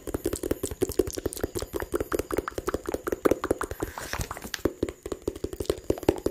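A small, hollow, blue-and-white printed cardboard phone box, held in the hands close to the microphone, is tapped quickly with fingertips and nails. The result is a rapid, steady stream of dry, short taps with a hollow knock around 400 Hz and light, bright clicks from the nails, each dying away almost instantly.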